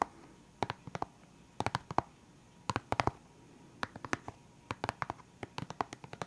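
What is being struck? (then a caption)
Hard plastic pen case with felt-tip markers. Fingertips and nails tap on the lid of a clear, hard plastic pen case full of felt-tip pens. About thirty short, dry clicks come in quick bursts, each with a hollow knock around 820 Hz and almost no ring. Brief quiet pauses separate the bursts.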